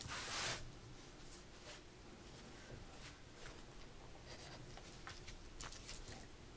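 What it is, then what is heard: Pencil scratching on sketchbook paper. A gloved hand draws with a mechanical pencil, scratching out lines near the top edge of a white drawing-paper page in a spiral-bound sketchbook resting on a dark table. A louder, brighter scratch or rustle opens the clip, then quieter, uneven pencil strokes follow steadily, each a brief high scratch over a low background hum.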